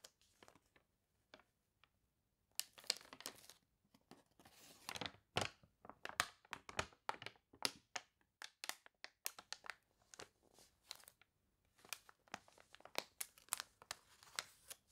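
Long nails scratch across the wavy pages of an open, water-warped paper toy catalog, then a page is turned and the nails rub over it. The result is a quiet, dry run of bright crinkling, crunching and scratching bursts with no ring and almost no low end.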